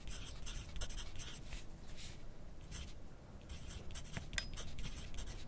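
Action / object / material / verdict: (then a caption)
scrape / graphite pencil on a paper sheet held on a clipboard / paper / none. A graphite pencil tip scratches steadily across a thin lined paper sheet held on a clipboard on a desk. The clip is a quiet, continuous writing sound made of soft, bright scratchy strokes over a low background rumble.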